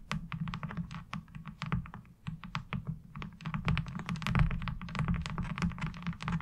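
Long acrylic nails tap and scratch across a light blue plastic laundry washboard with a diamond-textured surface. Quick, irregular clicky taps come in dense bursts, mixed with short scraping sweeps over a steady low hum.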